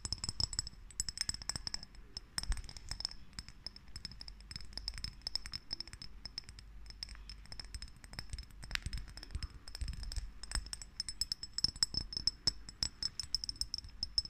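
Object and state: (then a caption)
Ceramic star ornament. A small, hollow, white star-shaped Christmas ornament with a teddy bear design, made of ceramic or glass, is tapped and scratched with long painted nails close to the microphone. The result is a dense run of short, dry clicks and scratchy taps over a low rumble, with a bright, thin ring from the ornament throughout.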